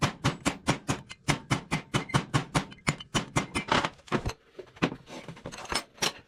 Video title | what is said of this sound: Cat D3B Dozer Tilt CYL Rebuild | that dead sound when you're hitting it with a punch